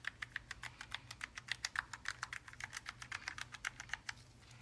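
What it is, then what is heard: Mechanical keyboard keys being pressed. A gloved fingertip presses the media, function and top-row keys on a Logitech G915 TKL linear mechanical gaming keyboard made of plastic and aluminium. About thirty short, crisp clicks come in a quick, steady rhythm, each bright with a sharp attack and almost no ring, over a faint low hum.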